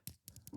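Fingers tap a small vintage white gold Rolex Oyster Perpetual on a wrist, giving four quick, light taps. Each tap is a short, dull knock with a brief bright click on top and almost no ring.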